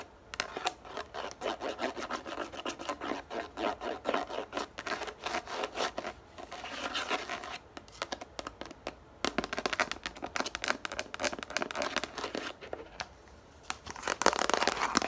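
A yellow plastic plate lies upside down on a table and is then lifted, while long nails scratch and tap quickly across its base. The sound is a dense run of dry, crisp taps and scratchy rasps, bright in the mids and highs with almost no low end. Each tap dies away at once, with no ring.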